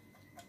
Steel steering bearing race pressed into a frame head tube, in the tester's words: kalau kita ketok nih ... padat ya ini